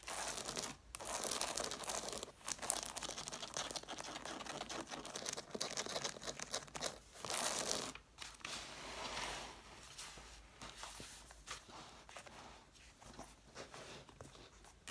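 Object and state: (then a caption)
Stack of cloth-bound hardcover books. Long nails scratch across the covers and paper page edges of a stack of red cloth-bound hardcover books. The result is a quiet, dense, bright rasping and crinkling texture with brief pauses between bursts, trailing off softer toward the end.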